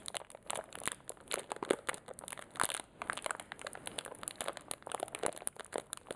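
A small clear plastic zip-lock bag holding metal paper clips, one of them yellow-coated, is crinkled and squeezed between the fingertips close up. The result is a steady stream of sharp, dry crinkles and crackles, bright and thin with almost no low end, each snap dying away instantly, with perhaps faint rattles from the clips inside.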